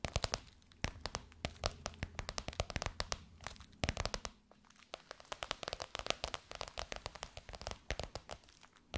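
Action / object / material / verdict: tap / embossed faux leather pillowcase over a soft pillow / faux leather / none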